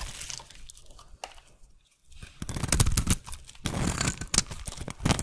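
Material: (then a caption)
Soap. A solid rectangular white soap bar, held in one hand, is shaved with a flat metal blade, peeling off thin curls. Soft scraping opens the clip and fades to near silence around two seconds. Then louder, crunchy, crackling scrape-and-cut strokes follow, with deep body and bright crisp edges.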